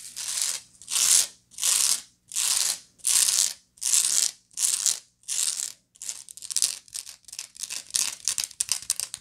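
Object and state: Woven straw bag scratched.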